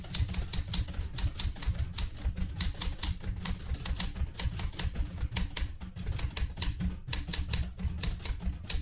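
Fingertips type steadily on a vintage light blue portable manual typewriter with a metal body, and one hand reaches to the carriage lever. A quick run of sharp, bright key clacks, each dying away fast, sits over a steady low rumble.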